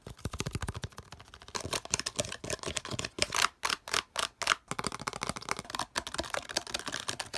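Fingertips and nails rapidly tap and scratch the sides and edges of an empty, palm-sized, hollow green plastic slotted case. The result is a fast run of dry, bright clicks and scrapes that stop almost instantly, with little low end, some quicker bursts and a few louder, sharper taps near the middle.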